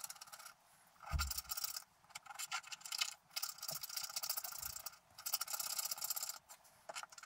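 A wooden stylus and then fingertips scratch the black coating off a scratch art paper card around the figure. The sound is bright, dry rasping in short uneven bursts, separated by brief quiet gaps.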